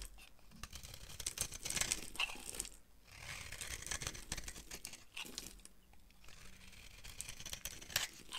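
A solid, dry lilac bar soap held in the palm is carved and scraped with a utility knife blade, breaking off brittle flakes. Bright, crackly scraping and crunching strokes come in uneven bursts, with sharp high snaps as pieces flake away and little low-end weight.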